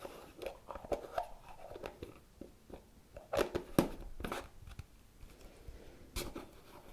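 Fingertips and nails scratch, tap and twist the lime-green plastic screw lid on top of a medium pale green plastic cosmetic jar. Quiet, irregular crisp clicks and scratchy crunches come in short bursts, with the sharpest taps standing out near the middle.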